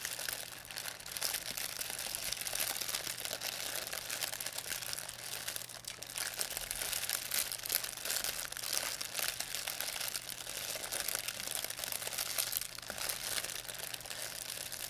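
A thin white plastic pharmacy bag with red and blue print, crumpled into a ball, is crinkled and squeezed in both hands by fingers with long painted nails. The result is a steady, dense stream of bright, crisp crackling and rustling that stays mostly high in pitch, with only a faint low hum underneath.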